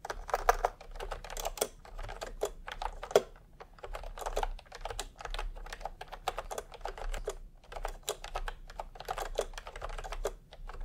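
Fingertips of both hands type continuously on a full-size pastel, typewriter-style keyboard with round plastic keycaps in a hollow plastic case. The result is a rapid, uneven stream of short, hollow plastic clacks with brief pauses between bursts, over a faint steady low hum.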